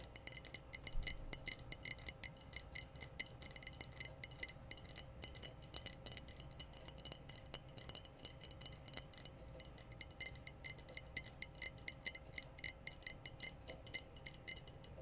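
Long painted nails rapidly tap the round body of a clear, empty-looking glass wine bottle with a red foil capsule on its neck, held in both hands. The result is a quick, steady run of bright, sharp clicks and clinks that die away almost instantly, over a faint low hum.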